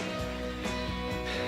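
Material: Nothing is struck.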